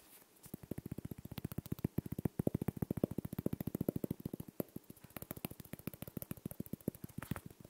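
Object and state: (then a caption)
Glass Christmas ball ornament. A small, round, clear Christmas ball ornament, probably glass, with a gold ribbon bow and a "9¾" label and seemingly filled with small particles, is held in one hand and tapped and scratched with the fingertips of the other. About fifty quiet, quick, uneven taps sound dull and low with no ring, mixed with soft scratching between them.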